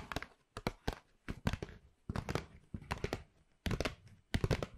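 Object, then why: Paper shopping bag. Long pink nails scratch and rub the surface of a hollow white Pandora paper shopping bag with black rope handles, held beside and behind the mic. Short bursts of dry crinkling and scratching alternate with near silence, each with a soft, low, thumpy body and quick decay.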